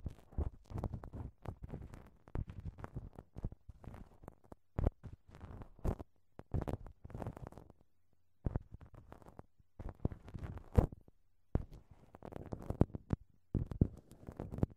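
A thin wooden ear pick scratches and rubs a small, hollow right-side silicone binaural microphone ear wrapped in crinkled clear plastic cling film. The result is dense bursts of close, muffled crackling and rustling, heavy in low rumble, with a few brief pauses between strokes.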